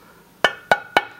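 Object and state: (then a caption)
Filmed glass headlight lens, still sounds like glass. Three taps on the glass headlight lens of an E38 BMW 7 Series covered with clear plastic protective film, applied to prevent pitting from road debris and breaking of the glass. Each tap gives a short, bright click with a faint ring near 1.5 kHz that dies away quickly. Even with the film on, the lens still sounds like glass.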